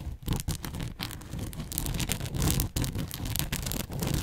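Long manicured nails pinch and scratch along the folds of a soft, hollow-ish red and white Canadian-themed fabric bow headband held in front of the mic. The result is a continuous close-up rustling and scratching texture with a full low body, bright scraping edges and brief dips between strokes.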